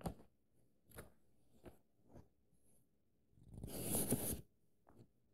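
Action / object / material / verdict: scrape / paperback book pages, paper / paper / none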